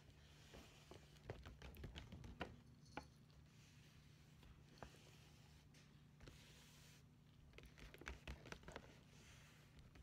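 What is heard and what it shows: Long painted nails and fingertips tap on the front panel of a hollow red "Merry Christmas" paper gift bag. Quiet, irregular papery taps and sharp, bright nail clicks come in loose clusters over a steady low hum.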